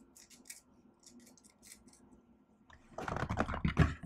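Long nails type and tap on the plastic keys of a laptop keyboard, with soft, bright clicks for the first few seconds. Just before the three-second mark, the taps turn louder and denser into a rapid burst of clacking.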